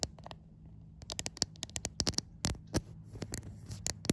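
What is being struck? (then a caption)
Glass smartphone back tapped and scratched with fingernails. Long white nails tap and scratch across the glass back panel of a white iPhone, seen in a mirror. A quick, irregular run of sharp, bright clicks mixes with soft scratchy rasps, each tap dying away almost instantly over a faint steady low hum.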